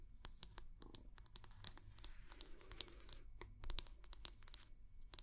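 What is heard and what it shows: A round wooden hair brush head is held close to the mic while long nails tap and scratch its wooden back. A rapid, uneven run of crisp, bright clicks is heard, broken by short raspy scratching passages over a faint low rumble. The taps are quiet and dry, stopping instantly with no ring.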